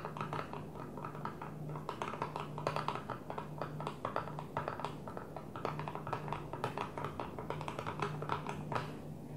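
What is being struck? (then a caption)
Flat plastic container lid. Long nails of both hands tap rapidly on a flat blue plastic container lid lying on a table. The result is a dense, continuous patter of quick, light clicks with a steady low hum underneath.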